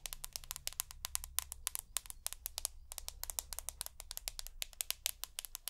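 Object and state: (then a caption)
Glass-backed smartphone tapped with nails. Long natural nails tap and scratch rapidly on a hand-sized, solid rose gold iPhone with a glass back and aluminium frame, held close to the mic. Dozens of sharp, bright clicks with almost no ring-out sit over a faint low hum and soft scratching between taps.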